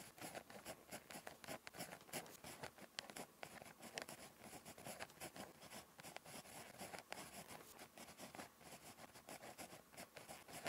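A ballpoint pen tip scratches continuously across a thin, flat lined paper notebook page while writing Korean script. The quiet, dry scratching comes in quick, uneven strokes with short bright ticks and a papery hiss, with almost no low end and no ring after each stroke.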